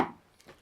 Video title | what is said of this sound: Signal Paths w/ Doug and Ryan: Ep. 11 A Giddy Doug Moore Shares Some Initial Testing Results | very very dead sounding cabinet. That Does that sound like wood? No.